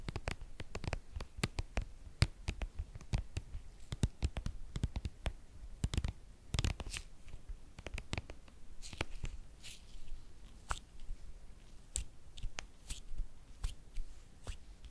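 Long painted nails tap and scratch along a hollow, hand-sized white soft plastic skincare cream tube. The result is a quick, uneven run of short, dry clicks with dull low thuds beneath them and faint bright scratchy textures between the taps. Each sound stops almost at once, with no ring.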